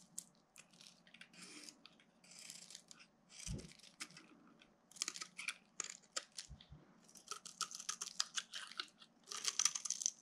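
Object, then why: Bar of soap. A flat metal blade scrapes and carves across a solid pink soap bar with ridged stripes, held in the hand over a pile of soap shavings, shaving off curls. The clip is a quiet series of dry, bright, crisp scraping and crunching strokes, with a few soft low thumps between them.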